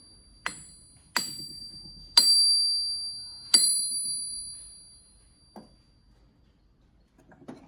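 A 100-year-old, 20 kg German PFP forged steel anvil, made before World War II, is struck four times. Each strike gives a bright, high, bell-like ring that sustains and fades over a second or more, with faint softer knocks afterward. It rings like a bell, the ring expected of a sound steel anvil, judged by listening alone.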